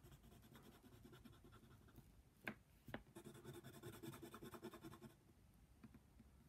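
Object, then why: Colored pencil scraping on paper. A yellow colored pencil scratches back and forth on a flat paper coloring book page, making soft, dry, papery scraping strokes. Two sharper ticks stand out near the middle, followed by a denser run of quick rhythmic strokes before the sound settles back to light scratching.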